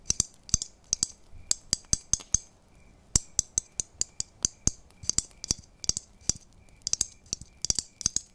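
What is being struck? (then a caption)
Christmas tree ornaments. Christmas tree ornaments are tapped one after another, about thirty quick taps at an uneven pace, to bring out a sound the tapper has always liked. Each tap is a sharp, bright click with a short high chime that dies away almost at once, over faint low background noise.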